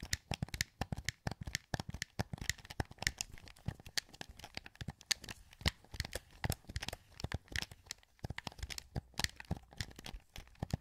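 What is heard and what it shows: A translucent green, hollow plastic PS2 wireless controller is held in both hands while thumbs press its sticks and buttons. Rapid, irregular, dry clicks and taps follow one another closely for about eleven seconds, each sharp and bright with a soft low thump and almost no ring.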